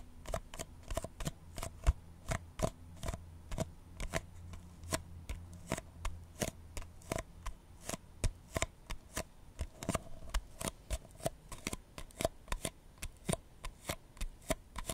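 A small white paper cup with a red printed logo, hollow and empty, is held on its side and tapped and scratched with the fingertips and nails. A steady run of short, dry, bright clicks and taps sounds over a low background hum, each tap dying away almost at once.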